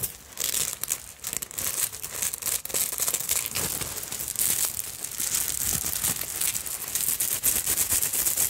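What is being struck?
Beaded fabric evening purse with bead fringe.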